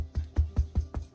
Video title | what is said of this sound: Irish Soda Bread 🥖 - Cooking with Irish 🇮🇪 friend - Exploring international dishes of Melbourne | like a hollow drum sound yeah so then we know it's cooked